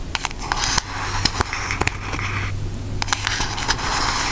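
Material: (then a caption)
Cardboard. A pink cardboard Aristocats eyeshadow palette, held upright in front of the face, is tapped with long acrylic nails. Quick, dry clicks and light crackles sound over a steady low hum, with the taps falling at an uneven pace.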